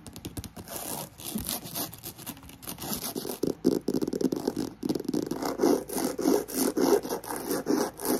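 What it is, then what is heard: Croc-embossed faux leather handbag. Long nails scratch rapidly across a black croc-embossed faux leather handbag, first lying flat and then with its side panel held upright. The fast, uneven scratching comes in dense rasping bursts with a gritty mid-range body and bright hiss, growing fuller and louder in the second half. A fan hums steadily in the background.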